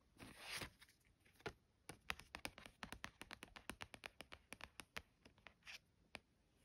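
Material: Cardstock.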